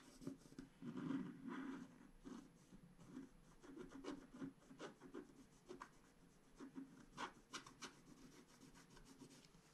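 A wooden stylus scratches a flat scratch-art card page in short strokes. Quiet, dry rasping scrapes come in uneven bursts with a mid-low body and brief bright edges. Each stroke stops almost at once, leaving a soft papery hiss between them.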